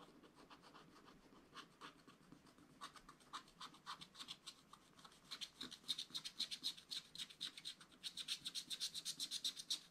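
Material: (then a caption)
Waxed paper. A wooden stylus scratches the black wax coating of a small spiral-bound scratch-art pad in short strokes. The dry, bright scratches start soft and sparse, then grow louder and come in a quicker, steadier rhythm of about four strokes a second through the second half.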